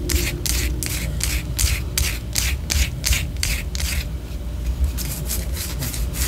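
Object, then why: Wax pillar candle. Long orange fingernails scratch a white solid wax pillar candle held low, in quick repeated strokes. Each stroke gives a bright, airy scraping rasp over a steady low rumble.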